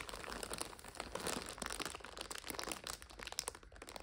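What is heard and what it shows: Long nails tap and scratch the clear plastic overwrap of a full purple 5-pack of instant noodles. The result is a steady run of crisp, bright crinkling and crackling with quick, sharp clicks that die away almost instantly.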